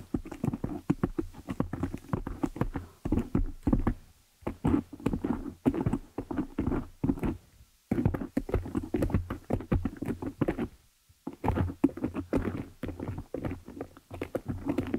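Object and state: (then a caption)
Foam microphone windscreen. Long nail tips tap and scratch the top of a black foam windscreen on a desktop microphone, producing rapid, dense bursts of soft, muffled thuds and rustling scrapes. The sound is low and padded, with short pauses near 4, 8 and 11 seconds.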